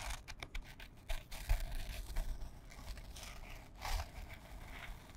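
Long fingernails scratch a small, flat, printed canvas fabric pouch held in front of the microphone. Quiet, dry rasping scrapes come in short, uneven bursts with bright, papery texture over a steady low rumble.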